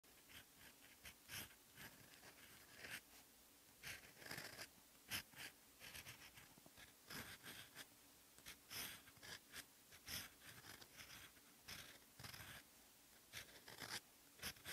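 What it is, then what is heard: Fountain pen nib scratching on paper. A rose-gold steel EF fountain pen nib, held in the fingers, writes Hangul letters on a lined paper sheet lying flat on a desk. The nib scratches the paper surface in short, quiet strokes, giving bright, dry scratches with brief pauses between them.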